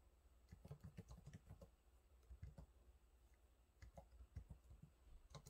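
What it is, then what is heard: Plastic laptop keyboard. Fingertips type on the low-profile plastic keys of a silver laptop keyboard, producing quick runs of soft, muted taps. The clicks are quiet and dull with a low thump and little high sound, each dying away almost at once. A short lull breaks the runs before the typing picks up again.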